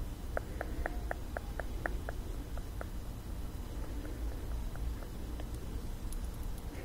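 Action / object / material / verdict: tap / small glass perfume bottle / glass / none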